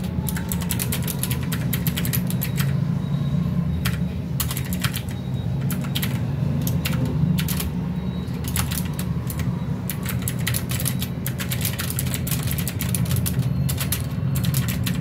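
Both hands type with their fingertips on a full-size mechanical keyboard with plastic keycaps resting on a desk mat, making repeated key presses. Bright, sharp clicks come in quick bursts with short pauses over a steady low rumble. The typing stays at an even loudness for the whole clip.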